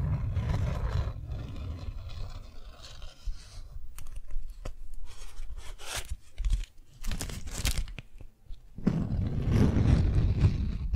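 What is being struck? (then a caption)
Beeswax-coated cotton wrap sheet. A thin beeswax-coated cotton sheet is held in the air while fingertips rub it and long nails scratch its waxy surface. The sound is a dense, low, rumbling rub with crinkly, crunching scrapes, broken by short bursts of bright, sharp scratching in the middle. It ends with heavy, rough rubbing.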